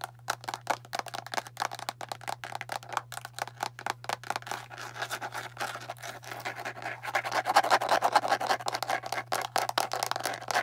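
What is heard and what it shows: Long nails rapidly tap and scratch on a hand-sized, hollow, blue and clear plastic deodorant stick container with its cap on. The sound is a fast, irregular stream of short, dry plastic clicks and scratchy rasps centered in the midrange, over a steady low hum. The tapping grows louder and denser in the last few seconds.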